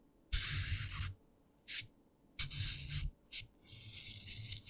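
A thin pen-like stick pokes and scratches into the top face of a palm-sized, solid green-grey phenolic floral foam brick lying on a dark surface under purple light, carving holes and grooves. Five separate bursts of bright, dry, crumbly scratching are heard, long and short, with a soft low rumble beneath. The foam is left pitted and grooved, with crumbly dust on top.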